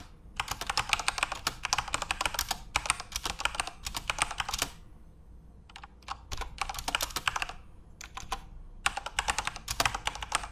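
Both hands type rapidly with their fingertips on a Corsair mechanical computer keyboard with plastic keycaps and RGB backlight, resting on a desk. Dense bursts of sharp, bright, clacky keystrokes come in fast runs, separated by brief pauses near the middle and toward the end. Each key hit is short and dry, with almost no ring.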